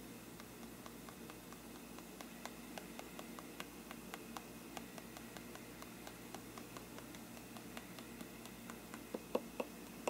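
The tip of a thin brush handle taps and scratches the paper side of a hollow faux-parchment paper lampshade. Many light, quick ticks and scrapes sound over a steady faint hiss, each dying away almost at once. A few sharper taps come near the end.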